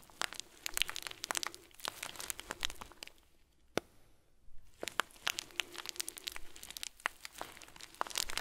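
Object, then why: Plastic bag filled with small foam beads. A round, clear plastic bag full of tiny white foam beads is squeezed and crinkled between fingers and thumb. Dense, bright crackles and crinkles come in quick bursts, with a short, quieter lull about halfway through before the crinkling picks up again.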